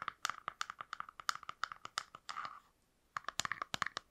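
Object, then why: Small plastic box. A small, hollow, translucent frosted plastic box is held in both hands and tapped and scratched with long nails. Quick, crisp clicking taps ring with a hollow mid-pitched tone, and a brief rasping scratch follows. After a short silence, the taps resume.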